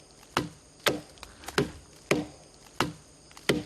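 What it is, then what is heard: Hollow tree trunk. Knocks on an old tree trunk ring with a hollow, drum-like "tong tong" tone around 300 Hz rather than the hard sound of solid wood. Six loud, irregularly spaced knocks are heard, with a few fainter taps between them. The trunk is hollow inside, with a cavity where bees have stored wild honey.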